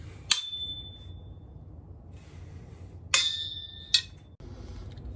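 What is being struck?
Iron or steel rod.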